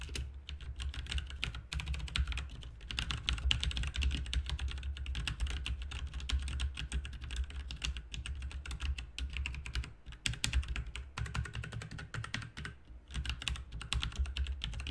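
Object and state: Plastic mechanical keyboard being typed on.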